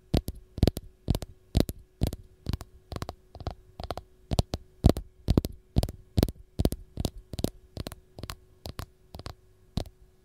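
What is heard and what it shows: Long gold nails tap the peel of a single whole raw lemon in a steady, slightly uneven rhythm, often landing in quick double taps. Each tap is a short, dull, low thud that stops almost at once. A constant low hum runs underneath throughout.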